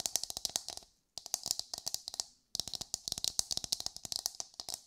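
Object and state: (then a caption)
Coconut shell half tapped with fingernails. Long pale nails rapidly tap and scratch a hollow, empty brown coconut shell half held close up, producing about 33 sharp, dry clicks in three quick bursts separated by brief pauses. The taps sound bright and crisp, with a faint hollow knock underneath and almost no ring after each hit.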